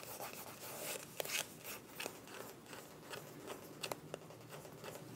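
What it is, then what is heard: Small plastic cosmetic tube, scratched. Long nails scratch along a small, filled white plastic cosmetic tube with a mint cap, making a quiet, steady, bright scratching and rubbing sound. Several short, sharp clicks stand out from the continuous scraping.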